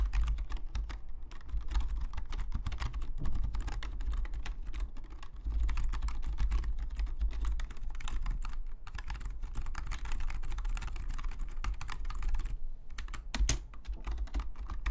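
Fingertips of both hands type steadily on a black full-size plastic Logitech membrane keyboard lying flat on a desk, its hollow plastic keys giving a rapid stream of short, dry clicks and taps. A strong low hum around 59 Hz runs underneath throughout, and the typing briefly thins out near 1, 8.7 and 12.7 seconds before resuming.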